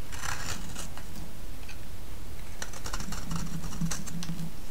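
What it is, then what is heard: Bar soap being shaved. A palm-sized solid yellow bar of vintage soap is held in one hand and shaved with a utility-knife blade, producing dry, bright scraping and cutting strokes. The strokes run over a steady low hum with no clear gaps, as thin slivers are pared off the bar.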